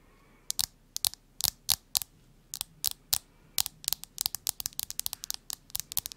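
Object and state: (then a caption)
Smartphone in plastic case. Long nails scratch and rub along the back and edges of a smartphone in a printed plastic case. The result is about 29 short, sharp, bright clicks and scrapes, each dying out almost instantly, with very little low end. They start out spaced apart and come faster and denser toward the end.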